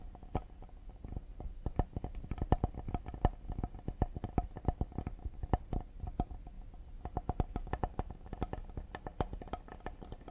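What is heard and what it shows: Fingertips and short nails tap quickly on the face and edges of a flat solid cedar serving board with a handle, held upright in both hands. The rapid, uneven taps sound dull and woody, with most of their weight in the low end, a faint mid-range tone running underneath, and each tap dying away almost at once.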